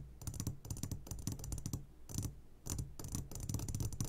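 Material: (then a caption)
Glass. Fingertips tap quickly on the sides of an upside-down clear glass jar full of hard candies. The taps come in rapid clusters of short, clicky hits, each carrying a bright glassy ring over a soft low thump. The jar's ring dies away fast between bursts.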